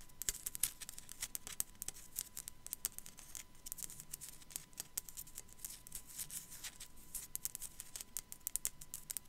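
Long black nails tap rapidly on the forehead of a small, hollow, white matte ceramic sugar skull figurine with raised relief. Dozens of quiet, sharp, bright clicks with almost no ring come in quick, uneven bursts over a faint low rumble and a steady thin hum near 1 kHz.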